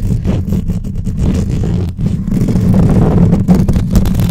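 Long painted nails on both hands scratch and tap fast across the hollow metal mesh grille of a black microphone. The result is a dense, boomy rumble of rapid, uneven scrapes and thuds, heavy in the low end.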